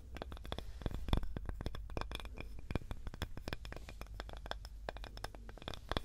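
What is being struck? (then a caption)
Small wooden cutting board. A small, light, solid wooden cutting board with a handle is scratched with long nails. Dense, quick dry scrapes and clicks with bright tops sit over a steady low hum, each stroke dying away almost at once.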